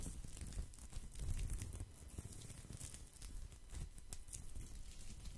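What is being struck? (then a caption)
Woven straw or rattan placemat. Fingertips and nails scratch and rub the surface of a thin, round, flat woven straw or rattan placemat held up to the microphone. The result is a continuous dry, crackly rustle with a heavy low rumble and scattered bright ticks from the nails catching the weave.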